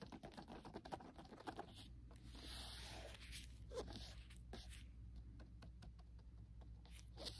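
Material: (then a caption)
Cardboard. Nitrile-gloved fingertips tap and handle a small, hollow, rectangular printed cardboard box of antibacterial wipes holding individually wrapped packets. The result is quiet, quick papery taps and light scratchy rustling over a steady low hum, with a brighter crinkling swell near the middle.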